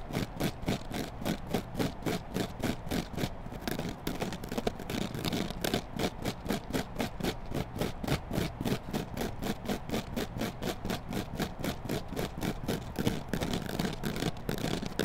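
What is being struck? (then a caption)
Foam kitchen sponge with scouring pad. A hand-sized, solid yellow foam kitchen sponge with a green scouring layer is scratched on its foam side with long black nails and bent and squeezed in the hand, with a microphone lying nearby untouched. About 66 quick, evenly paced scratching strokes run steadily through the clip. Each stroke has a soft, dull, low-weighted rasp and a brief crackle that dies away quickly.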